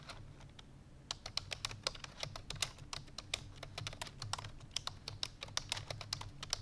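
Fingertips with long painted nails rapidly press the keys of a full-size black plastic computer keyboard resting on a white fur rug. Fast, crisp, bright clicking taps come in a quick, uneven stream, starting softer and picking up after the first second over a faint low hum.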